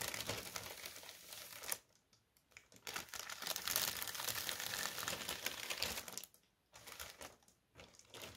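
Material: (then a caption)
Paper. Fingertips with short nails tap and scratch across a thin white tissue paper sheet spread flat on a white table, making a bright, crinkly rustle. Dense bursts of crackling come in stretches, broken by brief near-silent pauses around two seconds and again near six and a half seconds.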